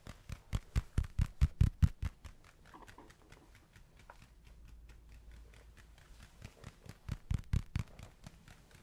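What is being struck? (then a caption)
Spiky rubber ball. A spiky rubber ball is tapped and handled, giving quick, dull, low-pitched taps with no ring. A fast run of taps in the first two seconds gives way to quieter soft handling, then another cluster of taps near the end.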